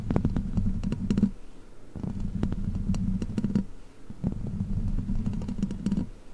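Long black plastic witch-finger claws scratch and tap the hollow metal mesh grille of a large silver microphone. Three bursts of dense scratching come through, with quick, sharp clicks over a heavy, muffled low-end rumble and brief quieter pauses between them.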